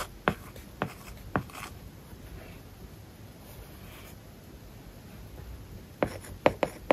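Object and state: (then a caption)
Stylus writing on a tablet screen with matte paper-like film. An iPad lies flat with a matte, paper-like plastic film over its glass screen while a hard plastic stylus tip writes across it. Eight short, sharp taps and scratchy strokes stand out, three early and five clustered near the end. Between them is a faint, steady rasp of the tip dragging over the film.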